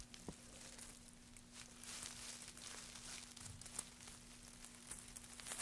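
Gloved hands lift handfuls of thin wood shavings and drop them back onto the heap. The result is a quiet, continuous, bright rustling and crinkling with small crisp crackles, over a faint steady low hum.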